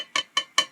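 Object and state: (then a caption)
Metal water bottle. Three quick taps on a metal drinking bottle give short, bright, dull clicks that sound more like plastic than metal, with a brief ring around 3 kHz. The bottle is known to be metal because it feels cold.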